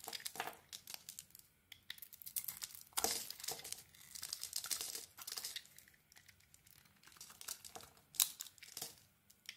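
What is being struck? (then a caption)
Bar of soap. A solid dark green soap bar with teal dots and a white interior is held in the hand and carved with a small metal blade. The clip is filled with quiet, crisp, bright scraping and crinkly flaking sounds from quick cuts, with a few sharper, louder strokes between softer shaving.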